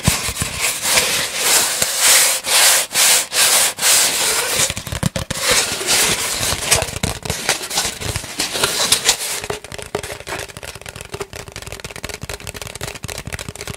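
A long, hollow, empty brown cardboard tube is held in both hands and rubbed and scratched along its surface with the fingertips. Bright, dry rubbing strokes with a faint hollow resonance come in a steady rhythm at first, then break into denser, crackly scratching. The scratching grows softer in the last few seconds.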